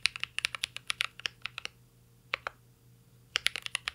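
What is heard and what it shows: Fingertips of both hands type on a full-size CYBERBOARD R3 mechanical keyboard with an aluminum case, plastic keycaps and Holy Panda switches. Quick bursts of bright, short clacks come in two flurries separated by a brief pause with a couple of isolated taps, and each keystroke dies away almost instantly with very little low end.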